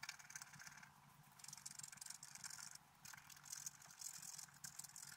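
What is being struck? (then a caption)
Black-coated scratch-art paper card scraped with a wooden stylus. A wooden stylus scrapes across a flat black-coated scratch-art paper card at the upper flowers. The result is a dry, bright, rasping scratch in short, uneven bursts, with a few brief pauses between strokes.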